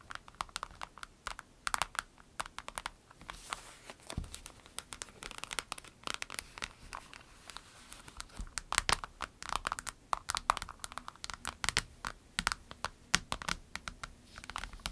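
A small clear orange vinyl pencil case with pens inside is turned over on a table while long nails scratch and tap the vinyl. Quick, dry, bright clicks and scrapes come in a dense, uneven stream, with some soft crinkling of the vinyl between them.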